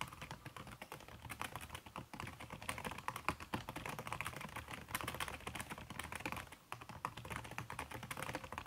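Fast typing with fingertips and long red-painted nails on a backlit aluminium laptop keyboard whose plastic keys are covered by a red silicone skin, at over 100 words per minute. A dense, steady stream of soft, muffled key clicks and taps continues with brief, short-ringing attacks and no pauses longer than a moment.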